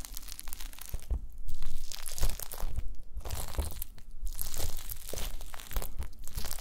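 A pile of small pink translucent solid gelatin jelly cubes on a white mesh mat is pressed and crushed with the round end of a wooden masher. It makes a dense, crunchy crackling that swells and eases in waves, with bright crisp snaps over a low thudding base.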